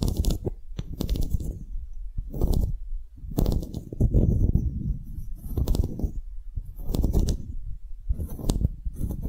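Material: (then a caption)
Wood. A solid engraved wooden block tag is turned at an angle while long nails tap and scratch across it. The result is a close, dry mix of dull low knocks and brief bursts of bright scratching, with almost no ring after each contact.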